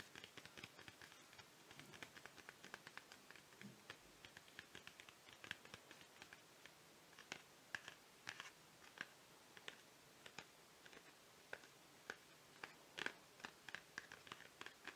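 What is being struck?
Chocolate bar in a paperboard sleeve.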